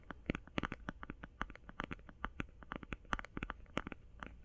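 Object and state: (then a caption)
Eye shadow palette. Fast fingertip-style tapping on an eye shadow palette produces a rapid series of short, dry clicks with no ringing. The taps sound quick and crisp, with a soft low rumble underneath.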